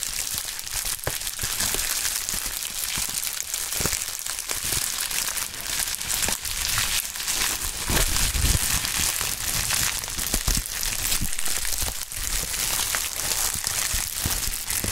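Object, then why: Polyethylene bubble wrap sheet. Fingertips in fingerless gloves pinch, stretch and crumple a sheet of pink polyethylene bubble wrap. A steady, dense, bright crinkling runs throughout, with scattered sharper crackles and snaps rising above it at an even loudness.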